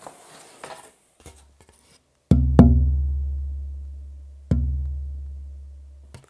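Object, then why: Sitka spruce tonewood board. A piece of ancient Sitka spruce tonewood is tapped three times after some soft handling noises. Each tap gives a woody knock followed by a low, sustained resonant ring that slowly fades over about two seconds.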